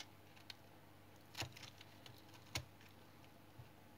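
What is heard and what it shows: A small knife shaves and cuts flakes off a solid tan remnant of brown household soap held in the hand. Crisp, dry scraping cuts and sharp bright clicks come at irregular intervals over a quiet, steady hiss.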